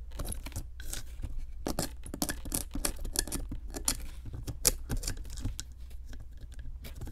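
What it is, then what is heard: Plaster block being chipped. A metal chisel held in long-nailed fingers picks and chips at a solid pink plaster excavation block. It makes a rapid series of sharp, bright scraping clicks and ticks over a steady low hum.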